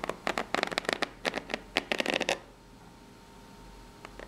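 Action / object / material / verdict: scrape / corrugated cardboard box / cardboard / none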